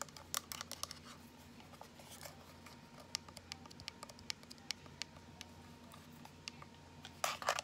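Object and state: Plastic power bank.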